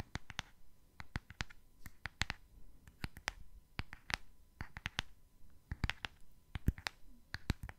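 A small, hollow, purple cardboard gift box printed with hearts and a Tweety picture is held in one hand and tapped with fingernails on its face and edges. The result is a quick, irregular run of sharp, dry clicking taps with almost no ring, some louder than others, over a quiet background.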